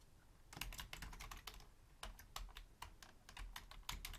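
Long painted nails and fingertips type rapidly on a black Logitech full-size plastic keyboard with a hollow shell, resting on a wooden desk. The result is quick, sharp, bright clicky key taps that stop almost instantly, over a steady low hum.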